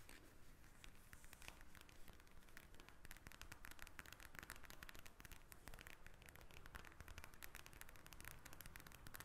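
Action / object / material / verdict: tap / plastic eye mask filled with gel beads / plastic / none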